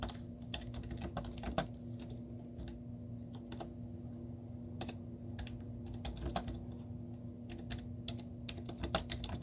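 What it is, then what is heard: Plastic laptop keyboard. Long teal-painted nails and fingertips type rapidly on a white plastic laptop keyboard with cartoon stickers on its hollow keys. The result is a stream of quick, sharp clicks and taps of varying loudness over a steady low hum.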